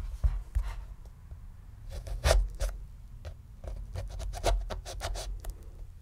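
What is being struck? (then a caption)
Pomegranate rind scored with a knife. A paring knife tip scores the leathery rind around the crown of a medium, solid, whole red pomegranate. Short, irregular scratchy scraping strokes sound over a steady low rumble, some strokes louder and brighter than others.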